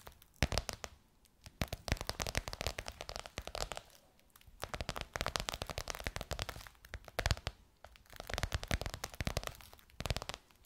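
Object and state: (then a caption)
Faux leather pillowcase tapped and scratched with nails. Long white nails tap and scratch across a gold crocodile-embossed faux leather pillowcase over a soft pillow. Dense bursts of sharp clicks and crinkly scratching alternate with brief quieter pauses, with a dull low thud under the bright crackle.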